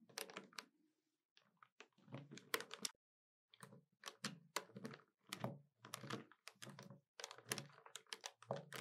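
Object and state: Plastic calculator keys tapped with nails.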